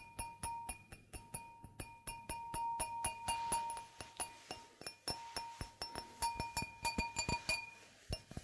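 An empty, clear, stemmed wine glass with a hollow bowl is held in the hands and tapped with long manicured nails. Dozens of quick, bright clicks land in an uneven rhythm, and each tap draws out a sustained glassy ring near 930 Hz with a higher overtone above it.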